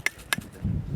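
Two pieces of recent lava rock from Mount Etna are knocked together, giving two sharp, bright clicks with a ringing, metallic tone near 1.7 kHz. The metallic ring comes from the lava's high iron content; red lava contains silica and iron, while black lava contains other minerals. A low rumble follows in the second half of the clip.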